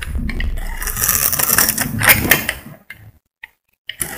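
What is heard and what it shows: A metal utility blade scrapes across a solid cream bar of soap that has been scored into a grid, sending crumbs falling. A dense, bright, crackly scraping sound lasts for almost three seconds, then fades into a few soft, scattered ticks of falling crumbs and a brief final scrape.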